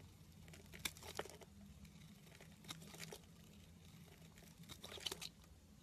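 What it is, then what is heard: Soap bar being carved. A solid pink oval soap bar is held in the hand while a snap-off metal blade scrapes and carves curly shavings from it. Quiet, bright, crisp scraping and crinkly crunches come in short bursts over a faint steady low hum.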